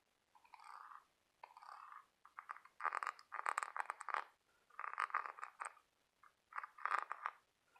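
Fingertips and nails tap and scratch the ribbed outer surface of a large white scallop half-shell held in the hand. Quiet bursts of dry, brittle clicking and rasping scrapes come and go with short pauses between them, sitting in the mid-high range with no low end. Each tap dies away almost instantly, leaving no ring.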